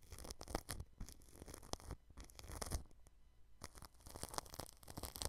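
A red-handled paintbrush brushes the grille edge of a white microphone wrapped in clear cling film. The result is soft, crinkly, scratchy strokes in uneven bursts with brief pauses, carrying bright rustle over a low rumbling undertone.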